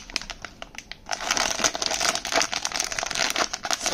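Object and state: Foil pouch being crumpled.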